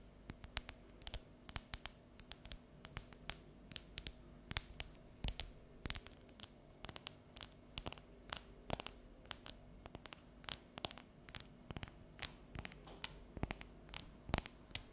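Long yellow nails tap and scratch the surface of a solid, unwrapped dark chocolate bar as it is held and then laid down. Dozens of short, sharp, bright clicks sound over a faint scratching texture and a steady low hum. Each tap dies away almost instantly.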